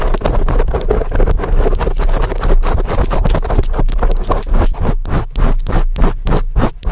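Long acrylic nails and fingertips scratch and rub a large black foam windscreen on a microphone in fast, aggressive strokes. The result is a loud, dense, muffled scratching with heavy low rumble, breaking into quicker, more separate scratchy bursts toward the end.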